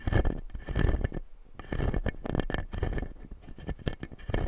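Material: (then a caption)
Plastic. Fingertips and nails tap and scratch the blue plastic teeth of a clear acrylic lower-jaw dental model. Dense, quick dull taps and scratchy rubbing come in bursts with a brief pause near the middle. The sound is close and low-heavy, and each tap dies away almost at once.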